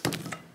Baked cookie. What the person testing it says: Taş sesi geliyor.